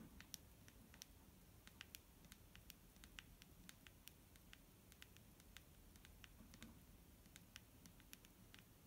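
Fingernails tap on a clear plastic micellar water bottle filled with liquid and held in hand. Quick, irregular, dry clicks with bright, high tops die away almost instantly over a quiet, steady low rumble and hiss.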